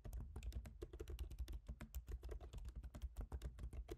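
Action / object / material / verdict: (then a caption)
tap / laptop keyboard, plastic keys in a metal body / plastic / none. A MacBook Pro keyboard with black plastic keycaps set in a silver aluminum body, typed on with the fingertips of both hands. A rapid, steady stream of short, dry taps comes with a low thump under each key press. The clicks overlap too closely to count.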